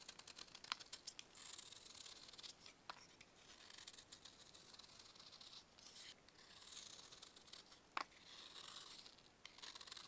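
A metal knife scrapes and carves a solid pressed baking soda block held in a purple-gloved hand, sending crumbling flakes falling. Bright, hissy scraping strokes rise and fall, broken by sharp, crisp snaps and ticks as the block crumbles. The sound is quiet and almost entirely high-pitched, with virtually no low end.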